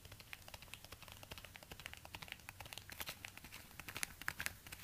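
Orange rubber-gloved fingertips tap and scratch the suede upper of a single empty black suede ankle boot with a plastic stiletto heel, held up in front of a door. The result is a quiet, rapid stream of dry, bright clicks and scratchy rustles that stop instantly with no ring.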